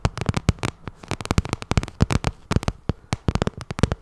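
Long nails tap and scratch the face of a glossy pink vinyl cosmetic bag, producing a rapid, irregular run of dry, crackly clicks. Each tap is short with a low body and a bright tick on top, and the taps come in uneven clusters with brief gaps between them.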